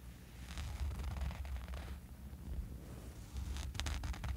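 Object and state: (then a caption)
Fabric eye mask being scratched. Fingernails scratch across the surface of a small, dark fabric sleeping eye mask lying on a sheet. The result is a continuous, soft, scratchy rustle with a low, muffled rumble underneath and faint bright scraping textures. It swells in bursts, with the strongest scratching near the start and again toward the end.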